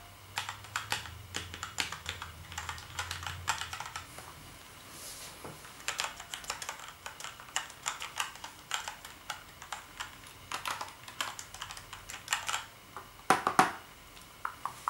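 One hand types with its fingertips on the keys of a black plastic gaming keyboard, making a steady run of quick, bright plastic clicks and clacks at an uneven pace, with a louder burst of key strikes near the end. Each click dies away almost at once, and a faint low hum sits under the first few seconds.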